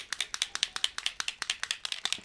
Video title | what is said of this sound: Introducing NEW Simon Hurley Create Solar Sprays from Ranger Ink! | you can hear that there's a little ball inside